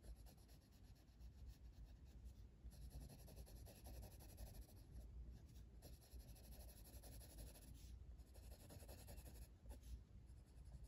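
A blue wooden colored pencil, held by the fingertips, scratches and rubs across a flat paper coloring book page while shading. The result is a quiet, steady scratching with a soft bright hiss over a low rumble, rising and falling slightly with the back-and-forth strokes.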